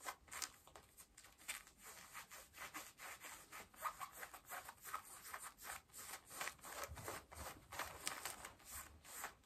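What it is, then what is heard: Denim jeans scratched. Long nails scratch pale yellow denim jeans at the hip and back pocket, making a quiet series of quick, raspy scratching strokes. The rubbing fabric texture is bright and dry, with very little low end and almost no ring after each stroke.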